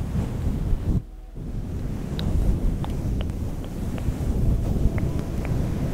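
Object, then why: Synthetic fur microphone windscreen. Both hands scratch and rub a fluffy, soft, hollow grey-green faux fur windscreen over a microphone with long painted nails. The result is a dense, low, rumbling rustle with a brief quieter gap near the one-second mark and faint high ticks scattered through.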